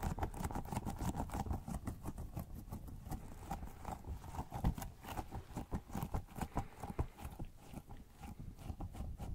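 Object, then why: Soft rubber squishy toy. A small pink squishy rubber pineapple toy with a blue plastic top, soft and pliable, is held in one hand while fingertips squeeze it and tap it in a sticky tapping pattern. A steady run of quick, soft, tacky taps and squishes follows, low and muffled with almost no brightness, each dying away at once.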